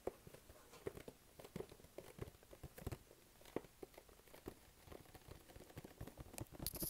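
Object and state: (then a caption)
Printed cardboard box. Fingertips tap and stick-pull on the surface of a hollow, glossy pink printed cardboard box held close to the body. Soft, quick tacky taps and peeling clicks patter irregularly over a quiet background, with short dull knocks and a brief bright crinkle near the end.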